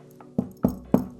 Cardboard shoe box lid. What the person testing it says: la boîte est hyper solide, hyper quali. Écoute ce bruit quand je tape dessus